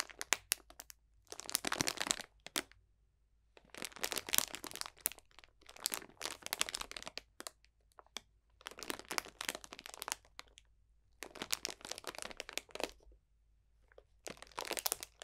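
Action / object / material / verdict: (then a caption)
scrape / cellophane bag of dried potpourri / plastic, dried plants / none. A clear cellophane bag full of dried potpourri botanicals is pinched and crunched with the fingertips. Close, bright crackling and crinkling come in about seven bursts of dense clicks and rustles, separated by short quiet pauses, with almost no low end.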